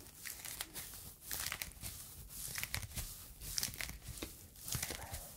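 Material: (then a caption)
Foam. A yellow foam fruit protective net, a mesh sleeve, is stretched and crumpled with fingers close to the microphone. It makes soft, bright crinkling and crackling in uneven bursts, with faint low rumble underneath.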